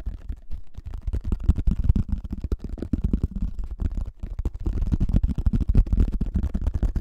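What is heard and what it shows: A pink hollow thin-shelled plastic frisbee held over the mic is tapped and scratched rapidly by fingertips, making a dense stream of quick, dull, low thumps with a faint scratchy edge. The hits are short and dry, with almost no ring, and the sound stays deep and muffled throughout.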